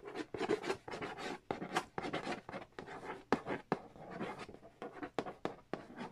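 Fingernails trace and scratch across the glossy printed cardboard lid of a large, flat, hollow Monopoly Nintendo edition board game box. It produces a fast, uneven run of short, dry rasping strokes and taps with a hollow midrange body and bright scratchy edges. Each stroke stops almost instantly, with no ring.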